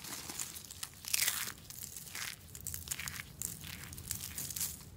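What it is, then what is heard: Dry soap curls crushed. A heap of hollow curled shavings of dry green soap is grabbed and crushed in one fist, giving a dry, bright crinkling crunch. Dense, crackly bursts swell and fade across the clip, with the loudest grab near the one-second mark.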